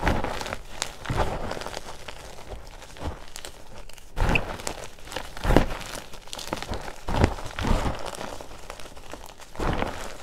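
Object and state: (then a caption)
Crushed gym chalk with baby oil. Both hands grab, squeeze and crumble a fine white mound of crushed gym chalk (magnesium carbonate) mixed with baby oil in a green bowl, working the powder between the fingers. Soft, crinkly crunching and crumbling sounds rise and fall in short, dry bursts with very little ring, weighted toward the low end and with only faint brightness on top.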